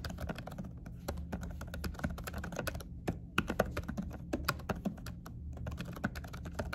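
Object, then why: Laptop keyboard with silicone cover. Fingertips of both hands with short nails type rapidly on laptop keys covered by a dark silicone keyboard cover. The result is a steady stream of soft, muffled, quick-decaying taps over a low, constant hum, with a few brief pauses and some louder presses.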